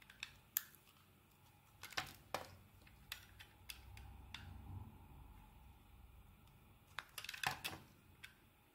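A steel utility blade carves and shaves chunks from a solid yellow bar of soap held in the hand. About seventeen short, bright scraping cuts sound, clustered near the start and again near the end. A faint low rumble fills the quieter middle stretch.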